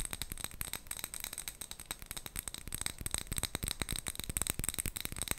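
A small clear glass jar with a gold metal lid, full of colourful wrapped sweets, is held and tapped and scratched with long nails. The result is a dense, rapid stream of sharp clicks and scratches with a bright, high glassy ring, while the sweets rattle inside.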